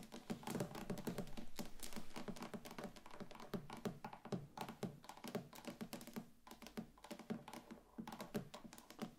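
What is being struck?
Wax pillar candle tapped with acrylic nails.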